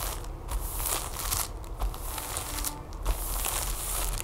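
Long nails tap and scratch across a flat, folded yellow plastic tablecover sealed in a thin plastic bag with a cardboard header, lying on a wooden table. The result is a fast run of crisp, crinkling crackles and short bursts of bright scratching over a steady low rumble.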